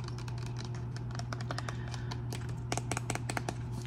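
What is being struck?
Small plastic bottle with flip cap.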